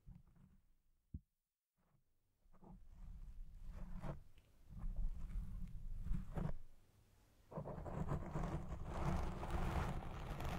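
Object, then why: Foam microphone windscreen. Two hands scratch and rub a black foam windscreen on a Blue Yeti Pro microphone with fingertips and nails. The result is a deep, muffled rumbling scrape with swelling bursts of friction, a brief near-silent gap early on, and a sustained, brighter rustling that takes over near the end.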